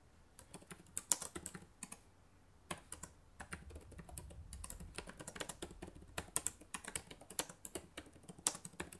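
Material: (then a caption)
Plastic. Fingertips with long nails type on the plastic keys of a black laptop keyboard, making quick, bright, dry clicks that stop almost instantly. The taps come in uneven bursts separated by short pauses, with a soft low rumble underneath.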